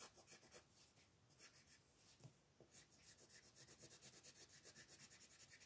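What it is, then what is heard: Colored pencil on paper. A blue wooden colored pencil colors a small dinosaur's head on a flat paper coloring page resting on a wooden table. Quick, bright scratching strokes repeat in a loose rhythm, growing louder and more even in the second half.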